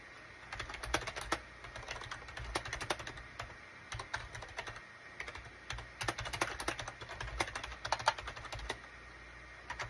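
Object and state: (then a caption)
Plastic computer keyboard. Fingertips of both hands type rapidly on a full-size gray SHIPADOO K600 wired USB keyboard, with a gray plastic case and cream, gray and orange plastic keycaps, resting on a desk mat. Sharp, clicky plastic key taps come in quick uneven bursts with short pauses, each tap dying away almost instantly over a faint steady low hum.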